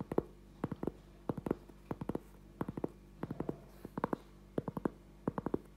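A thin, solid round cork trivet about 20 cm across is held up in both hands and tapped and scratched with the fingertips and short nails. Twenty-seven short, dry, muted taps come in quick clusters of two to four, each dying away almost instantly, with a soft low-mid body and faint scratchy texture between them.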